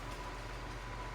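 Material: Nothing is struck.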